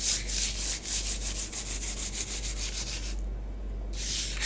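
Long acrylic nails trace and rake lines through a thin layer of orange bath bomb powder spread on a flat grey tray. Quick, bright, gritty scratching strokes repeat about three times a second, stop for a brief silent gap, then start again. A steady low hum runs underneath throughout.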